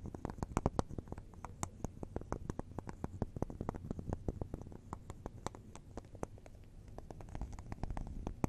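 Long neon acrylic nails tap and scratch across the bubbles of a solid wax bubble cube candle held in both hands. Quick, sharp clicks patter over a soft, low, rumbling scrape that runs throughout, and each tap dies away almost instantly.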